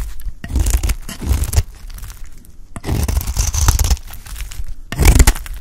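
A beige solid bar of dry soap, held in the hand, is shaved into thin curls with a utility knife blade. Three rough bursts of scraping, crunching strokes come through, with a dense low rasp under a dry, bright crackle and short quiet gaps between passes.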